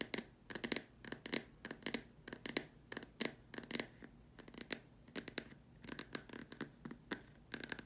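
Long nails tap and scratch around the sides and top opening of a large, empty, white hollow plastic dome lamp shade. Quick clusters of dry, bright clicks come in bursts, with a scratchy hiss between them. Each tap dies away almost at once, leaving no ring.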